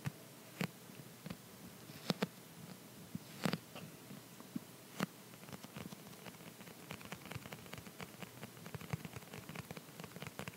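An empty, clear plastic phone case with a dotted back is held in one hand and tapped with the fingertips and short nails of the other hand. A few sharp, separate clicks in the first five seconds give way to a quieter, denser run of quick, light tapping. Each tap is dry and short, with no ring after it.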